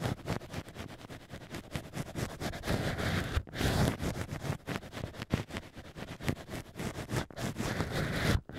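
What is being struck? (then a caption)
Natural cork wine stoppers scraped with thin sticks. Thin black sticks are pushed into the central holes of two small hollowed-out natural cork wine stoppers, pressed side by side into a plush ear cover on a binaural microphone, and scraped and rubbed against the cork interior with fingertips guiding them. Close, irregular scratching, rubbing and soft crackling sounds continue throughout, heavy in low rumble with brief breathy brightness and a few short pauses.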